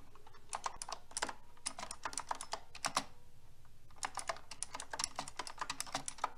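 A full-size mechanical keyboard with round pink plastic typewriter-style keycaps on a silver metal frame, lying on a white surface, is typed on rapidly with fingertips and long red nails. Short, bright clicks and clacks come in quick bursts with a brief pause in the middle, each with a crisp, fast-decaying attack.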